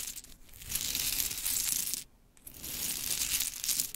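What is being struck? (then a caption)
Pile of painted wooden mini clothespins. Long chrome nails scratch and rake through a pile of pink painted wooden mini clothespins, the small pieces knocking and clicking together. Two bursts of bright, dense clattering rustle are split by a brief quiet pause near the middle.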